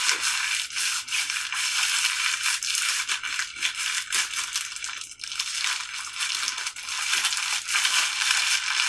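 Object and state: Plastic film hand mask gloves.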